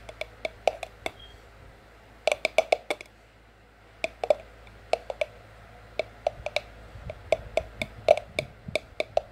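Long French-tip nails tap on an empty, hollow white ceramic mug and on the white cardboard sleeve wrapped around it, making about 30 quick clicks in irregular clusters with pauses between them. Each tap is a sharp, bright click with a brief hollow ring centred near 590 Hz that dies away almost at once, over a faint steady low hum.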